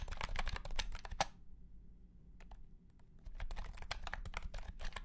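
A white and pink cat-shaped keyboard with round plastic keycaps in a hollow plastic case is typed on with the fingertips of both hands, giving quick, clacky key presses. A burst of typing is followed by a near-silent pause with a few scattered taps, then the typing resumes at an uneven pace over a low background rumble.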